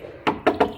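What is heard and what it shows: Three quick knocks land on the steel body of an old ex-military Jeep, over 50 years old and fitted with a swapped-in Isuzu 2800 engine. Each knock is a short, mid-pitched thunk, centred around 420 Hz, that dies away almost at once, sounding like solid old steel bodywork.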